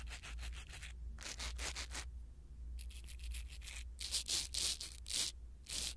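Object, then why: Foam microphone windscreen rubbed with a silicone-bristle pick. A blue silicone-bristle ear pick rubs over a small black foam windscreen on a pin microphone, producing quick bursts of soft, bright, scratchy rubbing strokes with short pauses between groups. The strokes grow louder and brighter toward the end, over a steady low hum throughout.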